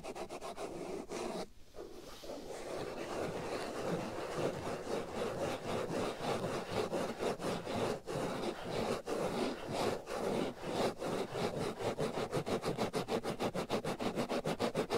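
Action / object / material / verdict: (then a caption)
scrape / foam microphone windscreen / foam / none. Fingernails scratch and rub a black foam windscreen over the right ear of a binaural microphone. It makes a dense, rough, close scratching with a brief dip near the start. The strokes grow quicker and more rhythmic toward the end, with a mid-range texture and little deep low end.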